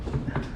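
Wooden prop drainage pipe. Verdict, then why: Fake. A prop drainage pipe on a studio backlot set, made to look like metal but actually wood, is tapped by hand. The taps are dull, low, and woody, centered around 137 Hz with almost no high-frequency ring, and they die away quickly. This confirms the pipe is a wooden fake rather than metal.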